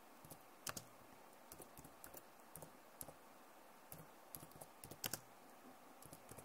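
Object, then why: Plastic laptop keyboard keys. Long nails tap and type on the plastic keys of a backlit laptop keyboard. The result is a quiet, steady run of short, dry clicks with bright, crisp tops over a faint hiss.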